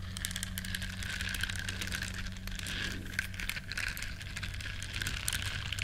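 Long nails scratch across the bristles of a small, flat, solid yellow silicone duck-shaped scrubber, producing a dense, continuous crackling and crinkling scrape with bright, high-pitched detail. A steady low hum runs underneath throughout.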